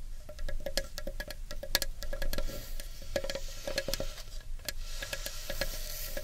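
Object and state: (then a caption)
Carved wooden bowl. Long nails scratch and tick across the rim and inner wall of a large, hollow, empty carved wooden bowl. A rapid, uneven stream of short, dry clicks and scrapes sits over a low rumble, with a faint woody tone near 600 Hz and brief bright ticks that die away almost instantly.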